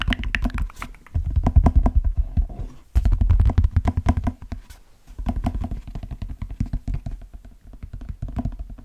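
A hollow brown leather cowboy boot is held up and tapped on the shaft with the fingertips. The result is a run of rapid, uneven, dull low thumps that stop quickly, coming in bursts with brief pauses between them.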